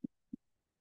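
Two quick knocks on a hard, solid wall, separate and short, land as dull low thuds centered around 250 Hz with almost no ring. The flat, dead tone shows the dullness heard in chest percussion, in contrast to a hollow, drum-like resonance.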